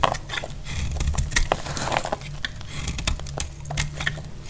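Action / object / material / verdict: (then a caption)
scrape / bar of soap cut with a knife blade / soap / none. A solid, dry, dark brown bar of soap held in the hand is cut and shaved with a metal utility knife blade, sending crumbly curls falling off. The blade gives a steady run of crisp, dry scrapes and brittle crackles, with bright ticks over a soft low rumble.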